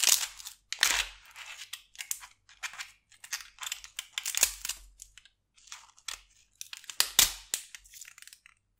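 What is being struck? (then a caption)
Onion skin. Fingers with long purple nails hold a whole, solid yellow-brown onion while metal tweezers and a small knife scrape and peel away its dry, papery outer skin. Bright, crinkly crackles and short scraping bursts come in quick, uneven clusters with brief silences between them. The thin skin layers rustle and tear off with almost no low end and no ring.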